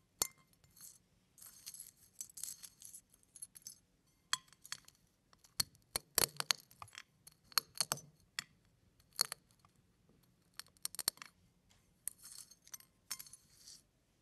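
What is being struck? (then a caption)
Eggshell fragments on a plate. Fingers pinch, press and crush pieces of eggshell on a plate, producing bursts of bright, brittle crackling and light clinking. The snaps are sharp and dry, with almost no ring or low end, separated by brief quiet pauses.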